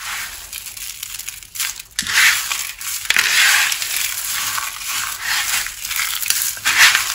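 Both hands dig into a large pile of small, multicolored dry soap shards on a wooden surface, squeezing and rubbing the pieces between the fingers. The result is a steady stream of dry, bright crunching and crackling with no low end, swelling into louder bursts as the hands grip and grind the shards.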